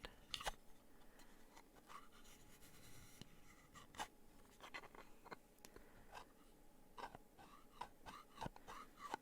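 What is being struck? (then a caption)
Wooden box. A wooden gift box is scratched and tapped. Quiet, dry scratching runs throughout, broken by short, sharp taps that die away almost at once. The sound is soft and close, with bright edges on each tap.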